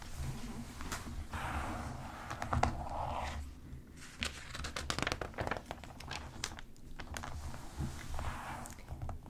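Long pink acrylic nails tap and scratch across the thin glossy pages of a US Weekly magazine lying open flat on a table, with pages turned partway through. Soft rustling and crinkling of paper mix with a rapid run of sharp, dry nail clicks over a steady low rumble.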